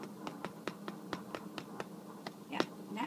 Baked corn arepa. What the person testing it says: after your arepa is finished baking, you want to listen for this hollow sound. Yeah, that means it's done.